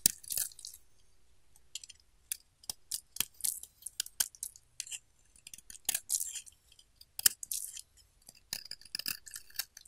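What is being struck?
Solid bar of soap cut with a metal blade.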